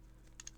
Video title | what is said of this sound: I GOT SOME CARDS GRADED!!! - Diamond Service Grading Review [DSG] | it's literally hitting the edges of the um case it's not really a well put together case